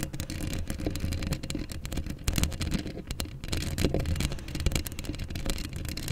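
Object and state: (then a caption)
Metal mesh microphone grille. Long acrylic nails of both hands scratch up close on the rounded, hollow steel wire-mesh grille of a black Blue Yeti-style USB microphone. The result is a dense, continuous rasping and scraping with heavy low rumble, streaked with quick bright crackles and a few louder scrapes throughout.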